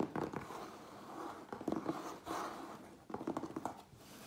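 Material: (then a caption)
Cardboard. Fingertips and nails tap quickly on the sides of a medium, closed cardboard Priority Mail box with contents inside. The tapping comes in short clusters of soft, hollow knocks with a dull, papery texture. Each tap dies away almost at once.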